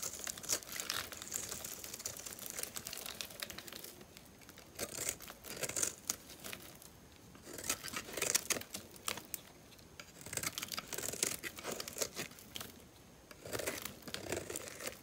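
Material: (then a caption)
Soap. A metal utility-knife blade scores and scratches a cube grid into the surface of a solid, dry, hand-sized oval blue bar soap held in one hand, crumbling small soap flakes off. Bright, crisp scraping and crinkly crunching come in quick bursts separated by brief quieter pauses, with almost no low end.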